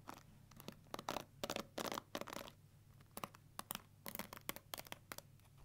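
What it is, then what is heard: Plastic paddle hair brush. Long nails scratch and flick across the black plastic bristles of a pink plastic paddle hair brush held in one hand. The result is an irregular run of short, bright, crackly scratches and sharp flicks, some in longer rasping bursts, over a faint low hum.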